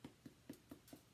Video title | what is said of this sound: Baguette sans gluten avec pâte fermentée | un pain cuit, ça sonne creux